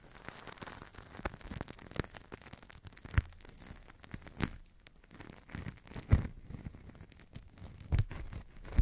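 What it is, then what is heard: Plastic-film toy bubble crinkled and tapped. A large, hollow, air-filled bubble of thin blue plastic film, blown from a Crystal Ball plastic toy, is held over the mic and crinkled, pressed and tapped with fingertips and long nails. The result is a soft, continuous crinkling and crackling, with dull low thumps. A few louder, sharper taps stand out at irregular moments.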